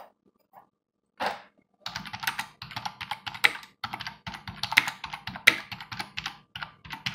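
Both hands type continuously with their fingertips on a black, full-size plastic desktop computer keyboard with a hollow housing, resting on a wooden desk. After a mostly quiet start with a couple of faint ticks and a soft brushing burst, a dense, uneven run of bright, clicky key taps follows. Each tap is short and dry with almost no low end, and a few strokes land sharper and louder than the rest.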